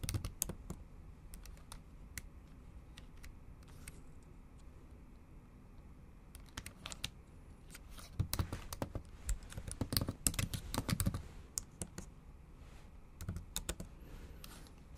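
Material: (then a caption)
Plastic. Long acrylic nails type on the plastic keys of a bare, backlit MacBook Pro laptop keyboard. Sharp, brief clicks come in irregular bursts over a low steady hum, growing denser and louder in the middle of the clip before thinning out again.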